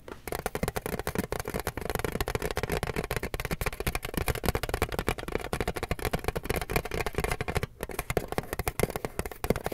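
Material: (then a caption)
Tinplate. A flat, rectangular, hollow printed metal tin with a car design is held in both hands while fingertips and nails tap and scratch across its lid. The result is a rapid, steady stream of short, dry taps with a hollow, low-mid body and light scratchy texture, each click dying away almost at once.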